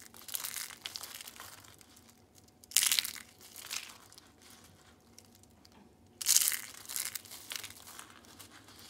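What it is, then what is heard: Brittle dried soap curls crushed. Small, brittle pink rolled curls of dried soap are crushed in the hand into flakes, making dry, bright, crunchy crackling. Two sharp, loud crunches stand out among softer, scattered crinkles, and the bits break down into flakes.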